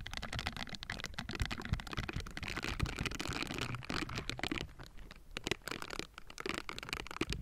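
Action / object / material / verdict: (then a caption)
scrape / metal mesh microphone grille / metal / none. The hollow metal mesh grille of a Blue Yeti microphone is scratched on both sides with pink silicone bristle gloves. A dense, continuous run of scratchy, crackling rustles fills the clip, with a heavy low thump underneath and bright, gritty edges. The strokes stop short with almost no ring.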